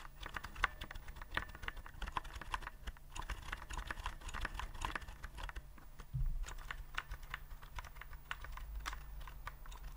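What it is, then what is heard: Plastic keyboard being typed on. Fingertips type and tap on a white plastic typewriter-style keyboard with round keycaps, held upright. A steady stream of quick, light plastic clicks runs throughout, each fading almost instantly, over a constant low hum. A brief louder low thump comes just past six seconds.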